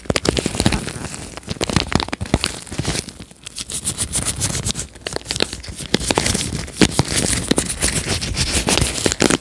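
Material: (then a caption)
Plastic. Nitrile-gloved fingertips rub and scratch across the plastic bristles of a red plastic paddle hairbrush held with its bristle face forward. The result is a dense, dry crackling and scraping full of quick, bright clicks, easing briefly around the middle before building back up.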